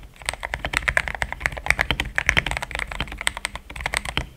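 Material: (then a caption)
Plastic. Rapid typing with both hands' fingertips on a compact cream mechanical keyboard with plastic XDA keycaps, resting on a starry deskmat. Dense, uneven bursts of short, crisp clacks with a bright click centered around 2 kHz come in a fast, irregular stream over about four seconds.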